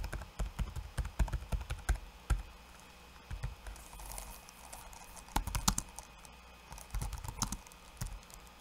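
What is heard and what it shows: Fingertips of both hands, then one hand, type on a backlit laptop keyboard with plastic keycaps. Quick, dry clicks come in rapid bursts with a quieter lull in the middle. Each tap is short and deep-toned with little ring.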